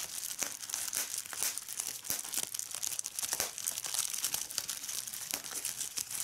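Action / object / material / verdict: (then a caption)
scrape / plastic bubble wrap sheet / plastic / none. A large sheet of clear plastic bubble wrap is lifted and crumpled by fingertips with red nails, which pop its bubbles. A steady, bright crinkling runs throughout, punctuated by many sharp, short pops that die away almost instantly, with nearly no low-end.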